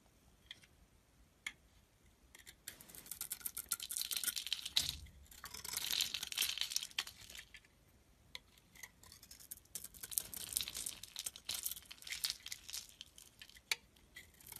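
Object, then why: Bar of soap. A box-cutter blade shaves the top layer off a solid red Simple bar soap held in the palm, scraping and cutting into it. Bright, crisp scraping and crackling come in two dense bursts with short quiet gaps, and a few sharp isolated clicks land between them.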